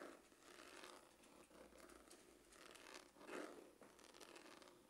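Fingernails scratch the grained lid of a dark, textured, hollow faux-leather hard glasses case. The result is a quiet, continuous, dry scratching with a rough, crinkly texture. It has a soft hollow body in the low mids and a faint bright hiss on top, swelling slightly in waves over the five seconds.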